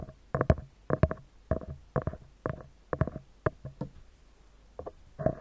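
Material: Metal mesh.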